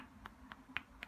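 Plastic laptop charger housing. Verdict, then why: Solid. Knuckle knocks on the housing of a compact 65W FINSIX Dart laptop charger, four short, dry taps with a bright, tight click and almost no ring. The charger sounds solid, like a heavy-duty unit.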